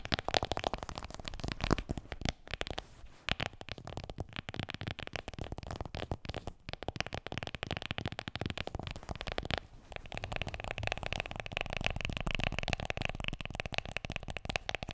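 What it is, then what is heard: Smartphone in plastic case. Long nails tap rapidly on the back and edges of an iPhone in a black plastic case, which is held and then turned sideways. The result is a dense, continuous stream of short, dry clicks and taps with a bright edge over a soft low thump, pausing briefly near the 3- and 10-second marks.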